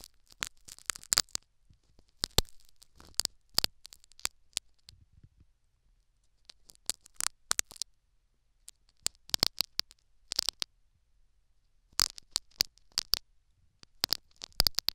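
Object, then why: Metal needle scraping a foam plug in a silicone ear microphone. A metal syringe needle scratches and picks at the foam plug in a silicone dummy ear microphone. Clusters of sharp, bright crackles and scrapes come in short bursts, separated by near-silent pauses. Each sound is close and dry, with almost no ring after it.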